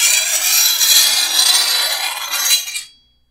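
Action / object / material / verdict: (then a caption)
scrape / steel machete blade and steel file / steel / none. A hand-held steel file is rasped along the edge of a long, thin, solid steel machete blade held over a wooden table to sharpen it. A continuous, bright, gritty scrape with a faint metallic tone near 3.3 kHz runs for nearly three seconds, then quickly fades to silence.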